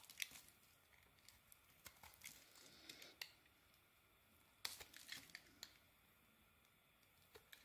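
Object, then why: Soap bar scraped with a small metal blade. A small metal blade scrapes the remaining dark coating off a white bar of soap, making quiet, bright, crisp scratching and crackling with sharp ticks. The sounds come in short bursts separated by near-silent pauses, with almost no low end.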